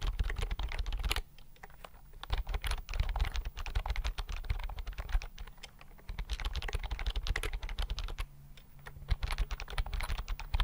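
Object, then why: Plastic computer keyboard. Fingertips type rapidly on a slim white plastic computer keyboard held close in front of the microphone. Dense bursts of short, dry key clicks carry a heavy low thump, with brief lulls of quieter tapping between the faster runs.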